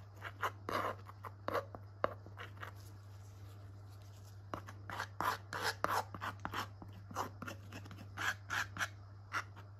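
A metal palette knife scrapes and smears thick, wet purple acrylic paint across a small, flat, textured canvas board held in a gloved hand. Quick, irregular short scraping and rubbing strokes come in soft bursts with a slightly bright, gritty edge, with quiet pauses between some of them. A steady low hum runs underneath throughout.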